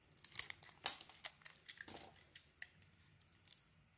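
A metal blade shaves strips off the surface of a mostly peeled, solid green soap bar held in the hand, with a pile of shavings nearby. Quiet, crisp scraping and crackling strokes come in irregular bursts, mostly bright and high with almost no low end, each cut dying away quickly.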